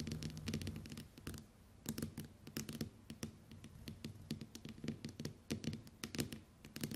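Long white nails tap and scratch the glass screen of a small, flat smartphone lying face up on a table. The result is a quiet, irregular run of quick, sharp clicks with bright tips and low, dull thuds, separated by soft scratching and brief pauses.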